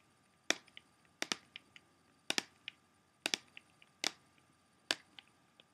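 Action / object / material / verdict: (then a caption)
tap / clear plastic CD jewel case / plastic / none. Fingernails tap on the back surface near the edge of a closed, hollow, clear plastic CD jewel case. The taps are sharp, bright clicks in loose clusters, with quicker, softer follow-up taps after each main one. Every tap dies almost instantly against a quiet background.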